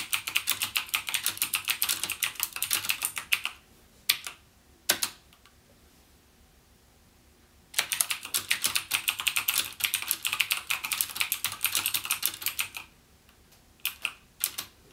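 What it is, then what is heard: Plastic mechanical keyboard being typed on. Fingertips type on a backlit plastic mechanical gaming keyboard with plastic keycaps and Cherry MX Blue switches, producing rapid, bright, clicky keystrokes with almost no low end and very short decay. A fast burst of typing runs for about three and a half seconds, then a few isolated key presses are followed by a pause. Another long stretch of steady typing ends with two short final clusters of clicks.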